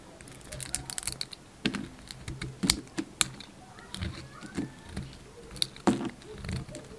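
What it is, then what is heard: Bar soap being shaved. A utility knife blade shaves a solid white bar of soap with a blue rim, breaking it into crumbly flakes. Short, dry scraping and crackling bursts come in quick, irregular succession, with bright, crisp edges over soft low thuds, all close and quiet.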